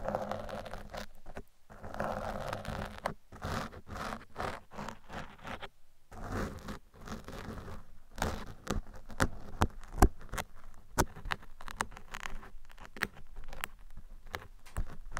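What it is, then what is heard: Foam microphone windscreen. Metal picks, held in hands with long red nails, scrape across the top and sides of a black foam microphone windscreen. The result is a dense, low-heavy stream of scratchy rustling and scraping, broken by short pauses and sharp, clicky picks.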